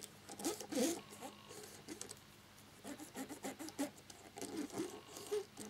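A cotton swab scrubs quickly between the keycaps of a black plastic laptop keyboard to clean it. It makes quiet bursts of small clicks and soft, papery rubbing in an uneven, patter-like rhythm, with brief pauses between strokes.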